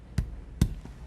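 Two knocks on a cracked ceramic floor tile in a bedroom damaged near an apartment construction site give two short, dull, low thuds with almost no ring. The tile sounds hollow, as if empty underneath, unlike the solid spot beside it.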